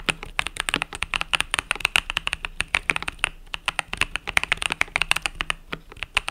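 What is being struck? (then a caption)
Mechanical keyboard with plastic keycaps. Fingertips type rapidly on the plastic keys of a compact mechanical keyboard with pastel purple-yellow keycaps. It makes a dense stream of sharp, bright clicks and clacks with almost no ring, the strokes coming in quick bursts with brief pauses between them.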